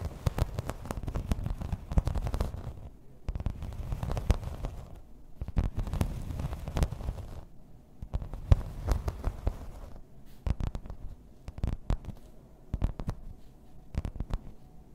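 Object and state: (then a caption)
Embossed plastic placemat. Long red nails tap and scratch the raised floral texture of a grey embossed plastic placemat lying flat. The sound comes in stretches of dense, low, rumbling scratching, broken by brief quieter gaps. Toward the end it gives way to sparse, sharp, dry taps.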